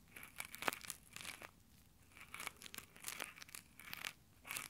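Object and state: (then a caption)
Nylon exfoliating gloves rubbed on a microphone grille. Fingertips in textured nylon exfoliating gloves pinch and rub the top of a small Tascam recorder's microphone grille. The result is a quiet, bright, crinkly scratching that comes in bursts with short gaps between them.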